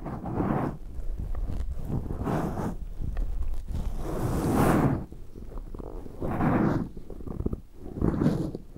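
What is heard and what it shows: Latex-gloved hands rub a black soft foam windscreen on a Zoom recorder from the sides, then clasp and squeeze it. The result is a series of muffled, low, rumbling rubbing swells that rise and fade in uneven waves, with soft crinkly scuffs in between.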